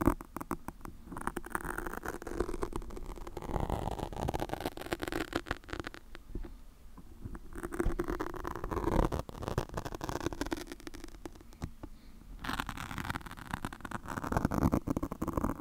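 A black foam microphone windscreen is scratched and plucked with long pointed acrylic nails in quick, repetitive strokes. The result is a dense, muffled rustling and crackling patter, mostly low and mid in tone, with brief bursts of scratching throughout.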